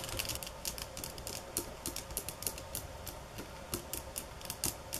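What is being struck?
Bamboo sticks tapped with fingernails.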